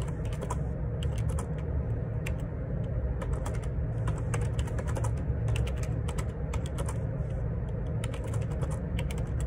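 Fingertips type on a black Perixx Periboard 612 wireless Bluetooth dual ergonomic split keyboard with plastic keycaps, resting on a grey desk. Rapid, steady plastic key taps with bright clicks sit over a constant low hum.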